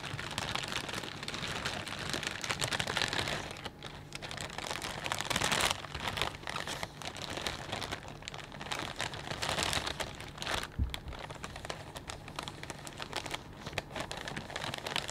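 A palm and fingertips press and crinkle a clear plastic bag full of potato chips. Dense, bright crackling and rustling runs continuously with many sharp overlapping snaps, over a faint steady low hum.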